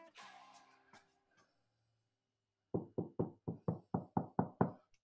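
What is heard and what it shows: A Tesla Model 3 fender sheet-metal panel behind the subwoofer, treated with butyl sound deadener and closed-cell foam, is tapped after a brief faint tonal sound and a pause. Eleven dull, low knocks with almost no ring follow, nine strong ones in a steady run and two fainter at the end. The panel now sounds solid, and the rattle is gone.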